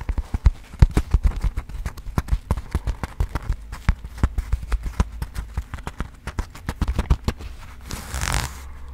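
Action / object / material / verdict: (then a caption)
tap / coated-fabric cosmetic pouch with metal zipper / coated fabric / none. Fingernails tap rapidly on a small pink floral coated-fabric cosmetic pouch with a metal zipper, producing dozens of short, dry clicks over a steady low rumble. Near the end, the zipper is handled in a brief, bright rasping sweep before quiet tapping resumes.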